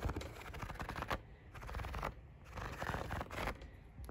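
Fingertips and nails scratch and tap rapidly across the pleats of a large, thin, hollow-celled pleated fabric or paper window blind lit from behind. The result is dense bursts of papery, crackling scratches over soft low thumps, separated by brief quieter pauses.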